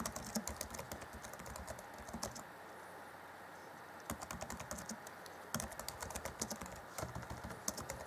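Fingertips of both hands type rapid key taps on the black plastic chiclet keys of a grey Acer Chromebook C20 (2014) laptop keyboard. The result is a fast run of short, dry plastic clicks with bright edges, paused for a quiet stretch near the middle before the tapping resumes.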